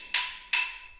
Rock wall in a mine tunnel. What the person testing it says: Otherwise, it's gonna take time and brute force to chisel in the wall.